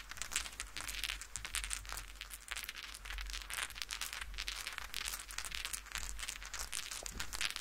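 Fingertips and short nails of both hands scratch and rub across the pile of a large, soft purple plush fleece blanket laid flat, leaving swirl marks. The sound is a continuous, dense run of bright, crackly scratching and rustling with many quick, close-together strokes. A steady low hum sits underneath.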